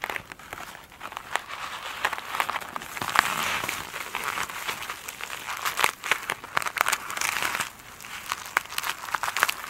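Long nails scratch the glittery mesh top of a foam sponge lying on a table. The result is a dense, crinkly scratching full of sharp, bright clicks and crackles, centered around 1 kHz with almost no low end. It swells and fades in bursts throughout.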